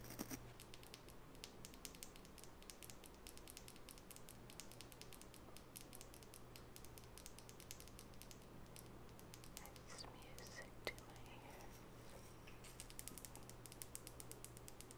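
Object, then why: Wooden nail brush. Long natural fingernails tap rapidly on the wooden body of a small, solid wooden nail brush with natural bristles, which is held sideways. A quiet, dense stream of crisp, dry clicks runs throughout over a steady low hum, with a few sharper taps standing out.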